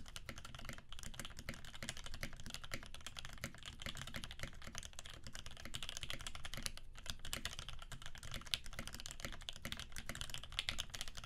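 Fingertips of both hands type rapidly on a Percent Canoe 65% mechanical keyboard with a clear acrylic case, aluminum plate, cream PBT keycaps and filmed Alpaca switches lubed with 3204. A dense, steady stream of short keystrokes is heard, each with a deep thocky body and a bright clacky top that dies away almost instantly. The typing keeps an even level throughout, with a few sharper strikes popping out.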